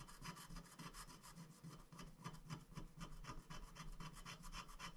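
A wooden stick scrapes the black coating off a thin, flat paper scratch-art sticker sheet lying on a glass board while a hand holds the sheet steady. It makes a quiet, dry, rasping scratch in short, rapid, slightly uneven strokes, bright and papery with a faint low undertone.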